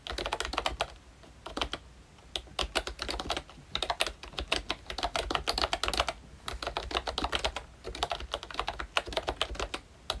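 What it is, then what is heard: Plastic membrane keyboard. A full-size ROYCHE Disney Mickey Mouse retro membrane keyboard with round plastic keycaps is typed on continuously with the fingertips of both hands. Rapid, bright plastic clicks and taps come in dense bursts, with brief pauses between runs. Each keystroke is short and dry, with almost no ring.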